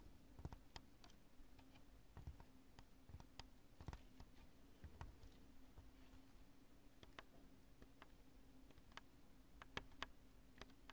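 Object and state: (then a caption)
Polyurethane spray foam chunk. Long nails tap a chunk of cured polyurethane spray foam with smooth, bulbous lobes. The sparse, quiet, dry clicks and ticks are short and bright and die away at once. They sit over a steady low hum.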